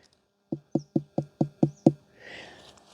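A ripe pumpkin on the vine is knocked seven times in a steady rhythm, each knock a short, low, woody thud that dies away almost instantly. A soft rustle follows. The knocks sound hollow, showing the pumpkin is ripe and ready to pick: its skin has toughened and its inside has expanded around the seeds, leaving a hollow middle.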